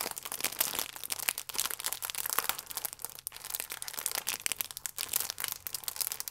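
A full, sealed plastic-film croissant pack is squeezed and crinkled between both hands with the fingertips. The result is a dense, continuous run of bright, crackly crinkling with quick, sharp spikes and almost no low end.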